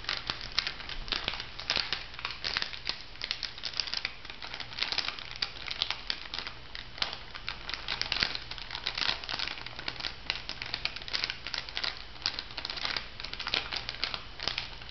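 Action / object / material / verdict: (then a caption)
scrape / laminated foil-plastic sachet / foil plastic / none. A pink laminated foil-and-plastic bath salt sachet is scratched and crinkled with fingernails and then lifted. The result is a continuous, dense crackling and crinkling, bright and crisp with short sharp snaps and almost no ring, over a faint steady low hum.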